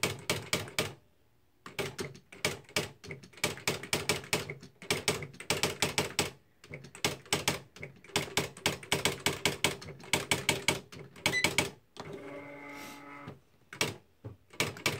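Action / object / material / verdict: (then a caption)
strike / plastic electric typewriter / plastic / none. A beige plastic Smith-Corona Mark V electric typewriter, with a hollow body and plastic keys, is typed on rapidly with the fingertips of both hands. Bursts of sharp, bright key taps and internal typebar strikes come in quick runs separated by short pauses. Near the end, a steady tonal hum takes over for about a second before the typing resumes.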